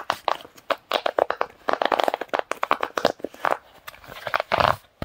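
Fingertips press and pop the hollow bubbles of a large round tie-dye silicone pop-it fidget toy held against the chest. The result is a quick, uneven run of short, dry, crunchy pops with a midrange tone that die away almost instantly.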